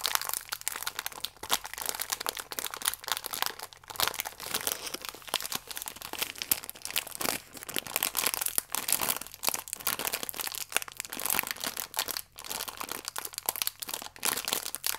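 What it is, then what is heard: Plastic-wrapped biscuit pack being crinkled. A small plastic-film biscuit pack with biscuits still inside is squeezed and crinkled in both hands. It makes a steady, dense stream of bright, crackly crinkling with quick crunchy pops and almost no low end. The crinkling carries on for the whole clip with only brief dips.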